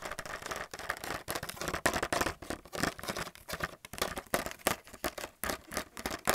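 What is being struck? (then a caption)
Plastic paint palettes in a blister pack. A blister pack of white plastic paint palettes is held up while fingernails tap and scratch rapidly across the plastic. The result is a fast, uneven run of dry, clicky taps and scratchy crinkling scrapes that cut off almost instantly, with a bright, papery edge and little low-end weight.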